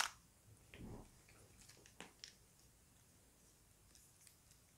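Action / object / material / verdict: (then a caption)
scrape / plastic puzzle cube / plastic / none. A small plastic Rubik's cube is held in both hands while fingertips twist its layers. Quiet, bright plastic clicks and short scraping turns come in scattered bursts, with a sharp click at the start and softer clicks toward the end, separated by near silence.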